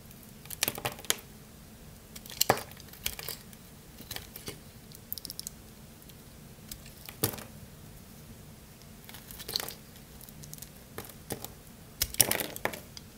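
A solid, dry blue bar of soap is held in one hand and carved with a craft-knife blade, shaving crunchy curls off the surface. Bursts of crisp, bright crackling and scraping come in clusters over a quiet, low steady background hum.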